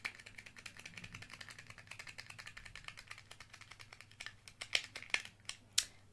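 A small, hollow, round bronze-coloured plastic eyeshadow palette with a hinged clear lid and three pans is held close in one hand while fingertips and nails handle it, opening and closing the lid. A quiet, steady run of dry, bright tapping and ticking fills the clip, followed near the end by a few louder, sharp clicks of the lid.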